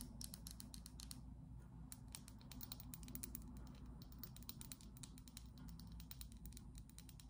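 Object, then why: Small glass perfume bottle with cap. Long glittery acrylic nails rapidly tap and scratch a small, slim, clear glass perfume bottle with a black cap, partly filled with liquid and held in the hand. Dozens of quick, bright clicks and scrapes patter irregularly over a steady low hum, all at a quiet level.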